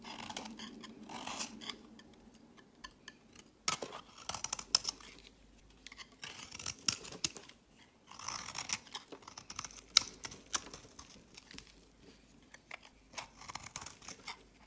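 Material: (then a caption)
Soap. A solid pink-and-white swirled bar of soap, held in the hand, is shaved and carved with a metal utility blade, and the flakes pile up on a woven mat. Quiet, dry scraping strokes come in short bursts, crisp and bright with almost no low end, separated by soft crackly pauses and an occasional sharper click.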